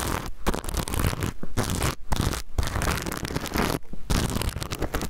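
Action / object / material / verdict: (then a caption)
scrape / sequin fabric pouch / sequins / none. Fingernails scratch across a small rainbow reversible-sequin pouch held close to the microphone, producing dense, crunchy, papery scratching in bursts separated by brief near-silent pauses, with a strong low rumble from the handling. At the end the pouch is moved quickly, giving a fast rustling scrape.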